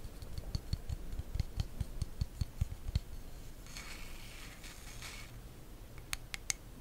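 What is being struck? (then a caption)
Wooden hairbrush back. Long acrylic nails tap quickly across the back of a solid, hand-sized wooden hairbrush held close to the mic, giving a run of sharp, dry clicks with a low knock. The tapping gives way to a soft, bright scratching of the nails over the wood, then a few final crisp taps, about 13 distinct hits in all.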